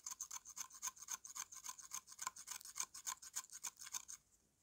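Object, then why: Slab of dried mud scraped by a metal blade. A metal knife blade scrapes the surface of a solid slab of dry brown mud held in one hand, wearing the slab slowly down. About 26 short, dry, bright rasping strokes follow one another quickly and a little unevenly, with almost no low end. They stop just after four seconds, leaving faint quiet.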